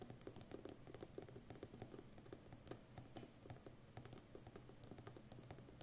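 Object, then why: Roll of plastic packing tape on a cardboard core. Long nails tap and scratch the rim of a full, hollow roll of brown plastic packing tape on a cardboard core. The result is a quiet, steady patter of quick, dry clicks with a soft low body, each tap dying away almost at once.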